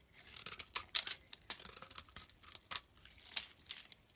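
A blade scrapes flakes off the top of a solid green olive-oil soap bar held in the palm. A quiet, rapid series of crisp, bright scraping strokes comes in uneven bursts, each short and dry, with almost no low end.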